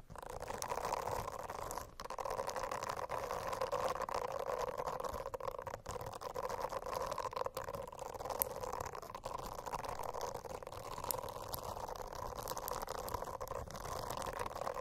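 Long acrylic nails scratch and tap across a rainbow silicone notebook cover lying flat and covered in small bristle nubs. The result is a steady, dense, soft rustling scratch with a mid-range hum-like tone and faint scattered clicks throughout.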